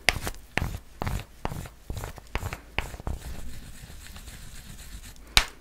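Long nails tap and scratch across the triangular-patterned surface of a solid white chocolate bar held close to the mic. Sharp, crisp clicks and brief scraping sounds come in an uneven series, with quieter rustling between them and a final pair of louder taps at the end.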